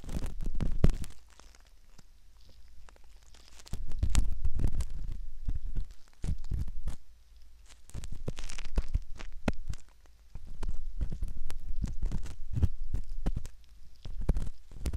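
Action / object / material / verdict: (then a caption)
scrape / silicone ear model scraped with a metal pick / silicone / none. A metal ear pick scrapes the canal entrance of a soft silicone ear model, heard up close. Bursts of dry, crackly scratching and crinkling come in irregular stretches, each with a low, muffled rumble beneath, separated by brief quiet pauses.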